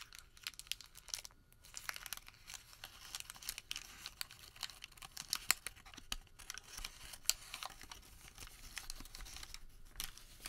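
A Home Depot thermal paper receipt is crumpled small, then opened out while fingertips crinkle it. It makes a quiet, irregular stream of bright, dry crackles and crinkling rustles, with a few sharper snaps standing out.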